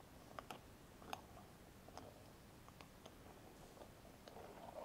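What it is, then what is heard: Metal cream jar lid tapped with fingernails. Fingernails of both hands tap and scratch the flat metal lid top and rim of a closed small round cosmetic cream jar. Sparse, quiet, sharp clicks with a bright edge and a faint metallic tone around 760 Hz stand out over a soft, continuous scratching hiss. The scratching grows a little louder near the end.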